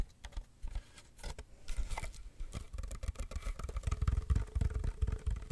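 Long nails scratch and tap the woven rim and sides of a small, hollow, empty woven wicker basket with a black base, held in both hands. Soft dry scratching and crackling mix with rapid, short, dull taps that carry mostly low, thumpy weight and die away almost instantly, growing denser and louder toward the end.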